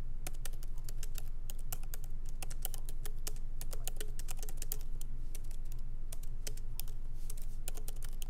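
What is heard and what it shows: Both hands type rapidly with their fingertips on a MacBook Pro keyboard, with low-profile plastic keys set in a solid aluminum body. The keys make quick, sharp, bright clicks at an uneven pace over a steady low hum.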